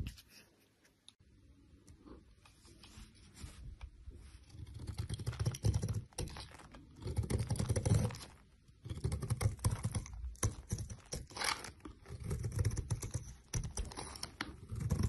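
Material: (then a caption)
Soap. A solid rectangular yellow soap bar with an embossed logo, held in the hand, is shaved and scraped with a snap-off utility knife blade, peeling off curled flakes. Soft, rapid scraping and crackling strokes come in bursts with brief pauses, low and muffled with faint bright hiss.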